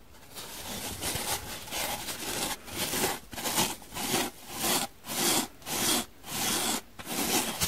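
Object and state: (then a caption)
Dry foam sponge being scratched. Long painted nails scratch the surface of a dry, hand-sized, blue and white donut-shaped polyurethane foam sponge with a central hole, starting right at the change from soapy to dry. Repeated rasping, bright scratchy strokes come in uneven bursts, about 100 per minute, with short quiet gaps and little low end.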